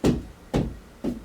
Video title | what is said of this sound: Why I Don't Care For Acoustic Treatment In My Room Anymore | you hear bounce back well part of it is because the acoustic treatment itself right but the other part is because there is no insulation in between my walls